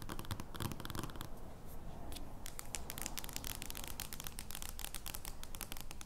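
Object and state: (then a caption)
Giant paper playing card. An oversized, thin but solid paper/cardstock joker playing card lies flat on a wooden table and is scratched and tapped with long dark-painted fingernails. Quick, uneven crisp scratches and dry taps sound over a steady low rumble, making a crackly, papery rustle throughout.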